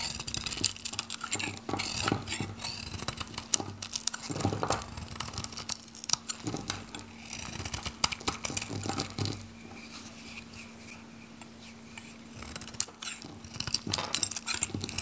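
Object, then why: Bar of soap shaved with a metal knife. A metal knife shaves flakes from the surface of a solid pink oval bar of dry soap held in the hand, making bright, dry scraping and crinkly crackling. The scrapes come in quick, dense bursts over a steady low hum, with a quieter stretch near the end before the shaving picks up again.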